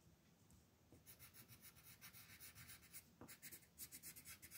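A yellow colored pencil scratches and rubs over a flat paper mandala coloring page lying on a table. Quiet, bright, raspy strokes come in a quick, uneven back-and-forth rhythm, with a soft low rumble underneath.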